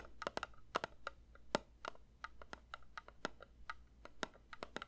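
A metal candle tin is lightly tapped with the fingers in a quick, uneven series of soft taps. Each tap is short and dry with a faint metallic ping, over a steady low hum underneath.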